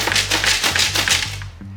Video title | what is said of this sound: Detailing The Interior of my CHEAP BMW M5 - COMPLETE REJUVENATION | this door, if you shake it, sounds like there's glass inside